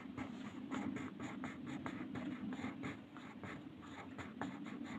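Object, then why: Wooden colored pencil on paper. Fingers scratch and shade a purple wooden colored pencil across a flat white paper sheet printed with a mandala, lying on a table. Soft, rapid scratchy strokes repeat in a steady rhythm over a constant low hum, each stroke a short papery rasp with brighter edges.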